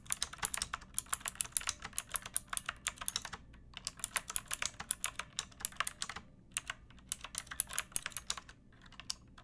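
Long nails and fingertips type on a backlit pink mechanical keyboard with round plastic keycaps and a hollow plastic case. The result is a quick, uneven run of sharp, bright clacks and clicks that stop almost instantly and carry very little low end. Brief pauses fall near 3.5 and 6.5 seconds.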